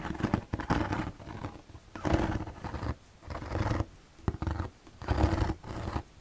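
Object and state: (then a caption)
Hollow plastic box. Fingertips scratch and tap the white slotted panel of an empty, hollow plastic storage box held in both hands. The result is bursts of dry scratching and quick, hollow taps with a low, boxy resonance, separated by short pauses.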